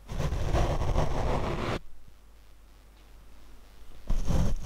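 Large paint brush bristles rub against a black foam windscreen on a Rode microphone mounted on a tripod, making a loud, deep, rumbling scratch heavy in low bass. The brushing runs for almost two seconds and cuts off abruptly into near-silence. A second burst of rubbing starts just before the end.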